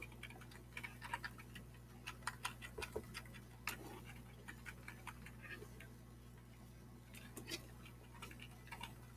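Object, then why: Plastic computer keyboard. Fingertips tap and scratch across the keys of a black plastic computer keyboard with a hollow plastic body, held up close. A string of light, dry, short clicks and ticks sits over a steady low hum, ending with one sharper, louder tap.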